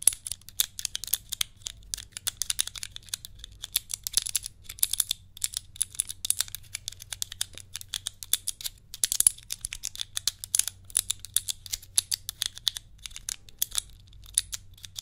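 A small hand-sized cube puzzle with clear plastic tiles, held close and twisted, clicked and tapped with long nails and fingertips. Dense, rapid, crisp clicks and taps with a bright, high sheen and no ring, over a faint low hum.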